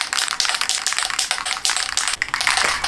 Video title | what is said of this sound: DON'T fit a sleeping pod like THIS 🤦🏼‍♀️ - we had to take it off - ep 21 - newbie van build | shake it until you can hear the thing